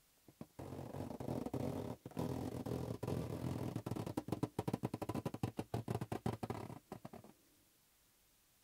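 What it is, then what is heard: Latex rubber balloon. Fingertips tap a hollow, inflated green latex rubber balloon held in the other hand, producing dull, low, rubbery thumps. The taps come in quick, uneven bursts that blur into a steady hollow drumming over a low hum, then break into separate pats before falling silent near the end.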